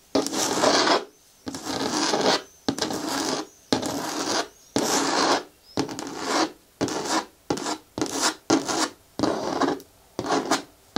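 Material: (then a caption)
Hard plastic. Long nails scratch and rub along the side wall of a green hard plastic bucket bin with a lid, producing twelve separate raspy strokes. Each stroke is a dry, broadband scrape with a bright hiss, with brief silences between strokes that grow shorter and quicker toward the end.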